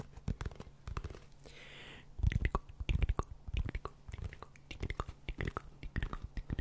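A hollow brown cardboard tube about 25 cm long is held in both hands in front of the microphone and scratched and rubbed along its surface with fingertips and nails. The result is a quick, irregular run of dry scratches and taps over a low, hollow thump, with a brief softer hiss in the middle.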